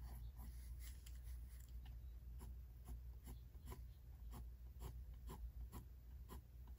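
A pink mechanical pencil's graphite tip scratches short strokes across a face sketch on a white paper page of a spiral-bound sketchbook. Quick, dry scratches repeat at an uneven pace over a steady low hum.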